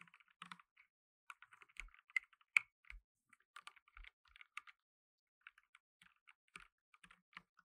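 Fingertips in blue nitrile gloves type on a black tenkeyless mechanical keyboard with plastic keycaps. The result is quiet, irregular bursts of sharp, bright clicks with an occasional low thud, separated by short pauses.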